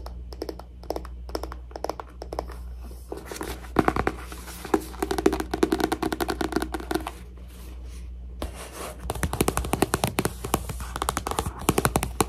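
A paper book is tapped for ASMR, giving quick, dull taps over a steady low hum. A stretch of scratchier, rubbing-like texture comes in the middle, then a brief quiet pause before rapid, dense tapping resumes to the end.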